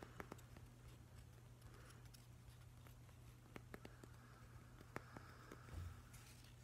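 Fingers and nails tap and scratch along the edge of a solid, weathered driftwood plank, making quiet, short, dry clicks scattered over a soft scratching texture. A steady low hum sits underneath throughout.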